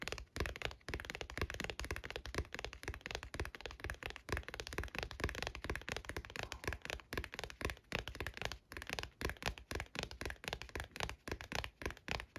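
A leather Pokémon card binder is tapped rapidly and irregularly, giving dense, short, dull taps with a soft low thump and little ring. The tapping runs continuously for the whole stretch, with brief pauses between bursts.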